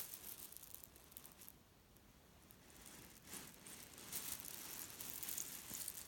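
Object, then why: Cotton pillow filled with cherry stones. A hand grabs, lifts and squeezes a small grey leaf-print cotton pillow filled with cherry stones on a bed, then releases it flat. The pits shift with a bright, dry rattling crunch that starts soft and grows louder in uneven bursts toward the end.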